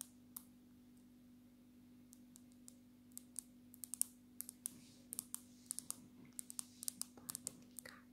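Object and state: Glass-backed smartphone.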